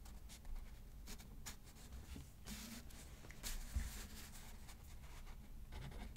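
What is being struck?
Paper card on a notepad.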